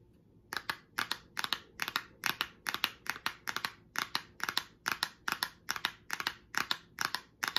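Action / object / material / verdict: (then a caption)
tap / small closed cardboard box / cardboard / none. Long acrylic nails tap and scratch across the surface of a small, closed pink cardboard product box held in the hand. The result is a steady run of quick, dry, bright clicks and scrapes, often landing in close pairs, each dying away almost at once, with very little low end.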